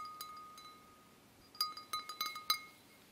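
A wine glass is gently tapped seven times, with two soft taps followed by a quicker cluster of brighter ones. Each tap gives a clear, high, bell-like ring with a steady tone near 1.2 kHz and bright overtones, sounding like a ringing chime. Quiet hiss fills the gaps between taps.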